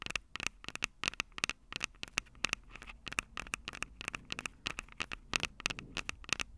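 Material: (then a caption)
Plastic, metal. Long acrylic nails rapidly tap and scratch the mic capsules of a Tascam DR-05 handheld recorder, which has a plastic body and metal mic grilles. The result is a quick run of dozens of crisp, bright clicks with dry scratchy rasps between them. Each click stops dead with no ring, and a sharp tone sits around 2.6 kHz.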